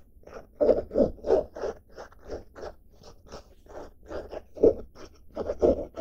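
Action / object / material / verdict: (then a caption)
scrape / denim fabric backpack / denim / none. Long dark nails scratch across the surface and front pocket of a blue denim-fabric backpack with a red badge and grey straps. The result is a quick, uneven run of dry, rasping scrapes with a low-mid grain.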